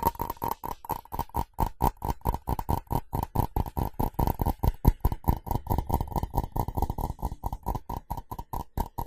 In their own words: FAST Tapping & Scratching On Ceramic [No Talking]